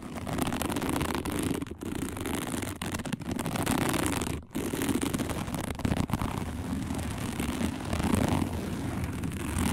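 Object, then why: Woven plastic placemat. Long nails on both hands rapidly scratch a round, flat, dark woven plastic placemat made of coiled strands. The result is a dense, continuous rasping scrape with a strong low-mid body, broken by brief pauses near 1.7 and 4.5 seconds.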